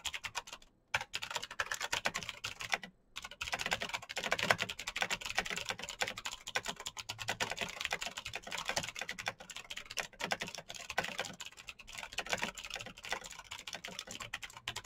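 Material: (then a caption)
Plastic. Fingertips type rapidly on the keycaps of a black plastic mechanical keyboard with RGB backlight and clicky switches. The result is a dense, continuous stream of sharp, bright clicks with very little low end, broken by two brief pauses near the start.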